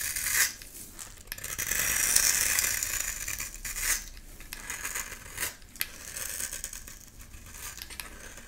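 A metal blade scrapes and cuts into a solid pink bar of soap held in one hand, shaving off crumbly pink flakes. The sound is a bright, high, crackly scraping in uneven bursts with short pauses, with little low end.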